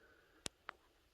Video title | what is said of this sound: Sourcing lead to start bullet casting, sorting wheel weights | lead it's more of a thud so it's a dull sound